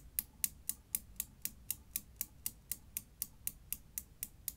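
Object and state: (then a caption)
Steel Newton's cradle balls clacking. A steel Newton's cradle, seen from above, with its right end solid steel ball swinging and striking the other balls. Eighteen sharp, bright metal clacks come at a steady rhythm of about four per second, each dying away almost instantly over a faint low background hum.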